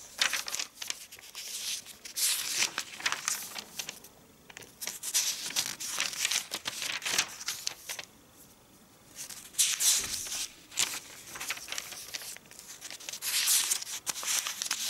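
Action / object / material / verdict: scrape / glossy paper catalog pages / glossy paper / none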